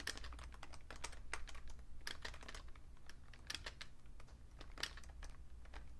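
Fingertips with short painted nails type on a vintage beige plastic Fujitsu Siemens full-size keyboard with a hollow case, lying on a red cloth. Quick, dry clicking taps with bright attacks sound over a steady low hum. Each tap dies away almost at once.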